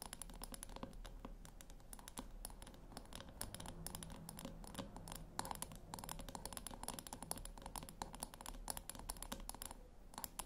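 Long nails tap and click rapidly around the rim and side of a small, round, metal puck-shaped speaker resting on a white cloth. Dense, crisp, bright clicks sit over a steady low hum, each tap dying away almost instantly.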